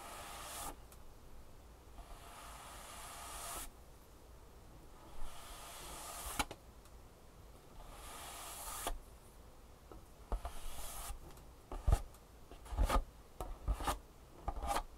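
Fingertips and nails tap quickly on the top of a long, closed, printed cardboard insole box resting on a table. Soft, swelling bursts of bright hiss alternate with quieter stretches, followed by sharper, irregular dull taps toward the end.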